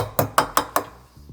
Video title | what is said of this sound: Vermeide Lagerschäden! L17 Kurbelwelle Lager Einstellen mit Henk der Puch MV, VS Motor Spezialist | you can hear it's in place by the sound